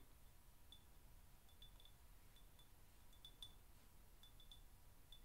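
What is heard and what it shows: Fingertips and nails tap and clink lightly around the rim and sides of a small, empty-looking, handleless glazed ceramic teacup with a pale green inside, held in both hands above a wooden desk. The quiet, scattered clinks ring briefly with a bright tone near 3.5 kHz over a steady low background hum.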